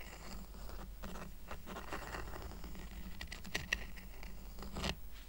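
Fingertips and short nails scratch and tap along the woven strands of a small, round, flat, thin, solid woven rattan coaster lying on a fleece blanket. The result is a quiet, continuous, crackly scratching over a steady low hum. A few sharper, brief clicking taps ring near 1.9 kHz toward the end.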